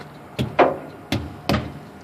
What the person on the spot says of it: If it's about 20 pounds lower than it should be at 105, you're going to notice a difference in the tone when you thump them.